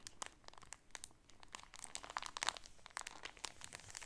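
Fingernails crinkle the top of a clear plastic bag holding a striped shower curtain with a grommet, then both hands squeeze the package. The result is a quiet, dense run of sharp, bright crackles and crunches with almost no low end, each snap dying away instantly.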